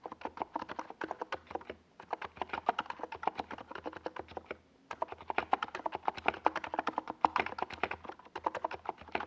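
Fingertips of both hands type steadily on a compact 68-key NiZ Plum Atom 68 keyboard with a white plastic case and tall purple and yellow Domikey Gas Attack SA plastic keycaps, resting on a desk pad. It makes a fast stream of short, clacky, mid-pitched key taps that stop ringing almost instantly, with brief pauses around two and four and a half seconds.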